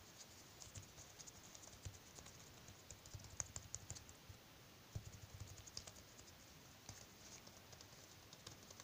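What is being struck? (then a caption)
Latex glove. Bare fingertips tap rapidly and rub across a thin white latex glove worn on the other hand, with plastic bead bracelets on the wrist. The result is a quiet, steady patter of soft, dry taps with bright, crisp clicks and faint rubbing scratches that stop instantly with no ring.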